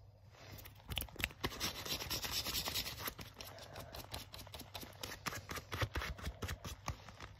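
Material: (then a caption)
Leather. Fingertips and short nails scratch and rub the smooth leather on the sleeve and front of a black leather jacket being worn. The result is a stream of dry, bright scratching strokes with quick, irregular bursts over a soft rustling bed, plus a faint low hum underneath.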